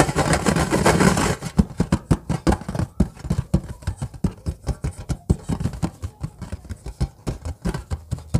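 Long fingernails of both hands scratch a round, flat stainless steel plate with embossed lettering that lies on an orange bag. A dense, continuous scratching gives way after about a second to a quick, irregular series of short, dull scrapes and taps. The sound is mostly low and muffled, with no ringing after each stroke.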